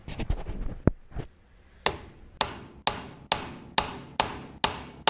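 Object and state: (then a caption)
Fully seated bearing race. A steel bearing race is driven into a wheel hub by hammering on a bearing driver. After a brief jumble of clatter, ten sharp, evenly spaced metallic strikes ring out, each with a quick bright attack that decays fast. The blows sound solid rather than hollow, showing the race is fully seated.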